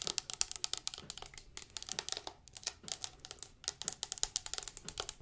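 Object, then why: Plastic liquid soap bottle. A large, clear plastic Dr. Bronner's castile soap bottle with a blue label and white cap, hollow and partly full of yellow liquid, is held in the hand and quickly tapped and scratched with long acrylic nails. The result is a rapid, dense stream of sharp, bright clicks and scratchy ticks, almost entirely high-pitched with very little low end, each one dying away almost instantly.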